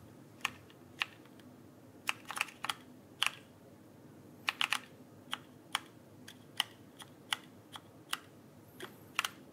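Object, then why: Plastic mechanical keyboard keycaps. Fingertips tap and press the plastic keycaps of a backlit mechanical keyboard held upright, making about twenty sharp, bright clicks at an uneven typing pace. Each click is short and dry with almost no ring, over a quiet, steady background hiss.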